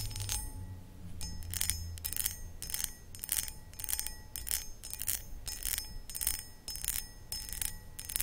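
Long acrylic nails scratch and tap the textured starburst-patterned sides of a medium, hollow, empty cut crystal glass footed pedestal bowl held in both hands. Short, bright, raspy scratching bursts repeat in a steady rhythm, with brief clicks and faint sustained high glassy tones. A low rumble sits underneath throughout.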